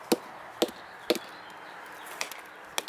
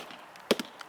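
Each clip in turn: First: Sharp, dry mallet knocks on an oak trunk that die away at once, the sound of solid wood. Second: Two quick mallet blows on an oak trunk give a dull, short thud that sounds hollow.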